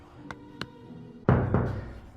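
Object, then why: Plasterboard partition wall. Knocking on a newly built plasterboard partition wall, where whether it sounds hollow depends on the spot. Two light taps are followed by two much louder, deeper, dull thuds that die away quickly, with faint music in the background.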